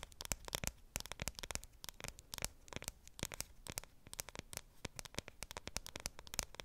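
The aluminum back of a dark grey iPhone 7 Plus is tapped and scratched with long nails close to the microphone. Quick, sharp clicks and scratchy, crackling strokes are heard, bright and dry with almost no ring, over a faint low hum.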